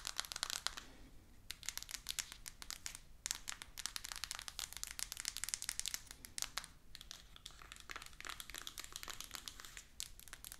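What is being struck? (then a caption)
Small cardboard box in plastic shrink wrap. Long acrylic nails tap and scratch a small, rigid cardboard iPhone 14 Pro 256 box, still in its plastic shrink-wrap and lying flat with the phone inside. The result is a dense stream of quick, bright clicks and crinkly plastic scratching, with brief pauses between bursts and little low end.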